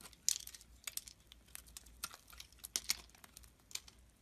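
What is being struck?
Bar of soap shaved with a knife blade.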